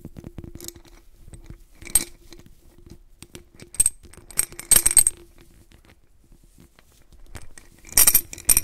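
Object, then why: Glass jar holding glass beads. A white-gloved hand grips the neck of a medium clear glass jar holding blue glass beads, turning it and gently shaking it so the beads shift inside. Bursts of bright, high glassy clinks and rattles stand out over a low, soft handling rumble, with quiet pauses between the shakes.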